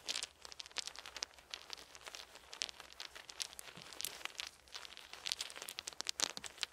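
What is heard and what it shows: Two handfuls of small, round, solid wooden beads are held in cupped palms and trickled and shaken with the fingers over a fluffy blanket, with more beads lying on the blanket. Quiet, dense, bright clicking and rattling fills the clip as the beads knock together in rapid, dry ticks with almost no low end, swelling into louder bursts near the start and end.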